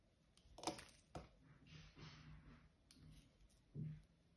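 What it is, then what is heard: Bar of soap being cut and scraped. A small metal blade cuts and scrapes chunks off a hand-sized solid blue bar of soap held in one hand, and the pieces fall onto a pink mat. Three sharp, crisp snaps stand out over soft, papery scraping, with quick dry clicks and very little ring, all at a low, quiet level.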